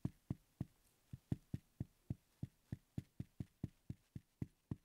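A wooden pencil tip repeatedly taps and knocks the top surface of a small, solid wooden letter block (X). Eighteen short, dry, low knocks land in a fairly steady rhythm, each stopping almost at once with no ring.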